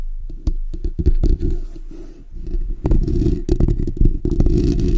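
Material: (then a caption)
Steel mesh. Fingertips and short natural nails of both hands scratch the bare steel wire-mesh grille of a black desktop condenser microphone, a hollow dome. The scratching comes through as a dense, boomy low rumble with irregular bursts of rough scraping and sharp clicky taps. It briefly softens in the middle before building back up to steady, heavy rasping.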